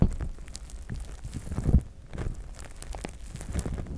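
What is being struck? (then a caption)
Plastic spiked massage mat. Fingertips and short nails of both hands scratch and tap the spikes and pads of a large, flat, gray plastic spiked massage mat. The result is a close, irregular stream of dry crackling scratches and soft clicks with a deep, muffled low end, and a louder thump just before the two-second mark.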